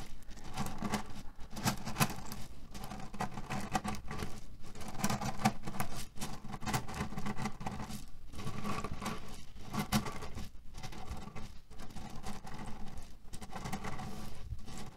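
Both hands scratch and press with medium fingernails and fingertips into a square beige cotton/linen pillow printed with red cherries and filled with loose cherry pits, lying on a white table. A steady, dense patter of shifting pits and fabric scratching runs throughout, with short dry crunches and a low hum around 210 Hz underneath.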